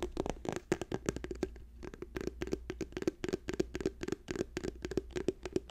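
A plastic tube is tapped quickly with the fingertips, giving rapid, irregular, dry taps with a short hollow tone around 370 Hz. A steady low hum sits underneath the tapping.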